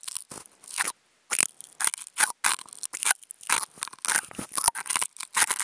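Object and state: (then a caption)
Nonwoven fabric sheet scratched. Toothpick tips fitted to contact mics are scratched and scraped over a thin white nonwoven fabric sheet. The result is a run of dry, crunchy, bright rasping bursts with no low end, separated by short gaps and one brief silence near the one-second mark.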